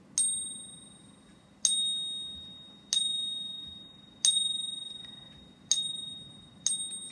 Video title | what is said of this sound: NO Silver Bells?? | it's gonna have a very nice rich ring to it